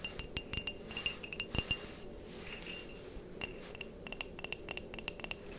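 A white patterned ceramic mug, hollow and apparently empty, is tapped and scratched with long painted nails. Quick, bright clinks ring briefly around 2.8 kHz in irregular bursts, with soft scratching between them over a faint low hiss.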